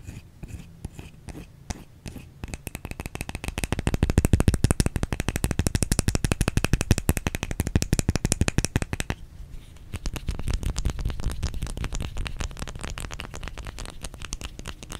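Long fingernails rapidly tap a white solid bar of soap held in the hands. A few scattered taps open the clip, then a dense, uneven stream of quick, dull clicks with soft low thuds runs on, pausing briefly around the middle before continuing.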